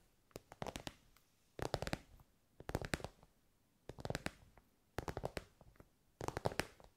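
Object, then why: Soft synthetic fabric pencil case. Long nails tap on an elongated, soft, glossy pink fabric pencil case covered in shiny synthetic material. The taps come in six quick bursts of dry, soft clicks and light scratches, separated by short quiet pauses, with no ring after each hit.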